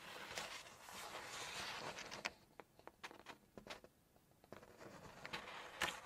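A single glossy page of a Chinese cookbook is held up and flexed, giving a soft, bright crinkling rustle for the first couple of seconds. Long nails then tap the paper in a series of sharp, crisp, irregular clicks, ending with a rustle as the page is turned.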